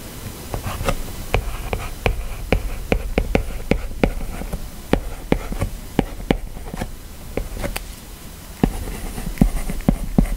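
A plastic Apple Pencil stylus writes handwriting in continuous strokes across the flat glass touchscreen of an iPad lying on a desk. About 19 short, sharp taps click out over a soft, low rubbing and scratching sound. Each tap dies away almost at once.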